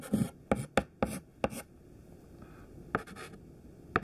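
A thin white classroom chalk stick held in the fingertips writes words on a large, flat black chalkboard. Eight short, dry scratching strokes tap and scrape across the board with a bright, gritty edge. A quiet pause falls between the early strokes and the last few.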